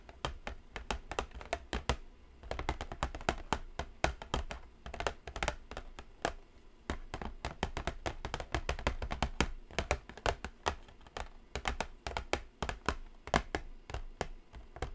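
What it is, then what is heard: Cardboard palette box, hollow. Long acrylic nails tap continuously on a hollow, medium-sized, flat white cardboard eyeshadow palette box. The result is a steady stream of quick, sharp clicks over a soft, low, hollow thump, each dying away almost instantly, with small bursts and pauses in the rhythm.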